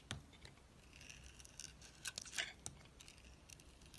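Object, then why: Bar of soap scraped by a metal blade. A metal utility knife blade scrapes and carves away the green edge of a hand-sized, solid green oval soap bar with a black layer inside. Soft, bright scraping and crisp shaving sounds come in short, uneven bursts, with a few sharper cuts standing out. Thin slivers are pared from the soap.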